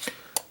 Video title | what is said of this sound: Toy Spot - Diamond Select A Nightmare Before Christmas Mayor Figure | if I tap it you could probably hear yeah this is just basically a hollow uh Hollow piece of plastic